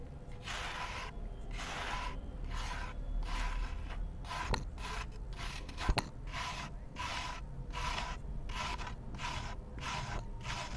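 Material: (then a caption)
Cement. A metal knife blade held in the hand shaves and scrapes the surface off a round, solid, dry cement disc painted with a yellow emoji face, lying in a bowl of cement dust. Steady rhythmic strokes make soft, bright, gritty rasps, with a couple of sharp clicks midway over a low background hum, as powdery crumbs fall away.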